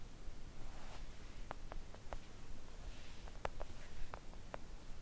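A flat pink silicone nail art mat printed with nail shapes, thin and solid and lying on a table, is tapped gently with long acrylic press-on nails on both hands. The result is scattered soft, short clicking ticks with almost no ring, set against a quiet, steady low hiss.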